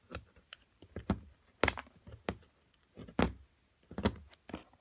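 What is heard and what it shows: A small chunk of solid plaster sits among plaster chips, held by a hand with long nails while a metal carving pick chips and scrapes at it. The pick makes a quiet, irregular run of short, dry, gritty scratches and clicks with brief crumbly rasps, each dying away almost at once.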